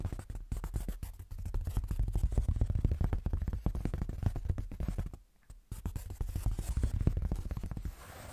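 Fingertips with short nails tap and scratch across the surface and top edge of a large, flat, light-grey foam sheet with a fine speckled texture, held upright. The result is a dense, rapid run of soft, muffled scratching taps, mostly low and dull in tone. The sound dips into a brief pause just after the five-second mark before resuming.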